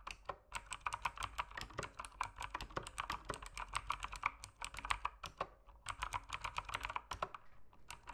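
Fingertips type continuously on a backlit mechanical keyboard with plastic keycaps in dim light. The result is a fast, steady stream of short, crisp plastic clacks centered in the upper mids with bright edges, each dying away almost instantly, with a brief pause near the middle before the typing resumes.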